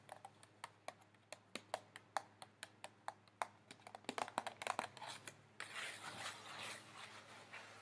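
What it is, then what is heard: Paper plate. Long fingernails tap on a thin, white disposable paper plate held in the hands, making a quick, irregular series of sharp, dry clicks with a light papery ring. In the last couple of seconds, the nails scratch across the plate's surface, giving a steady, bright, rustling scrape. The whole clip is quiet and close.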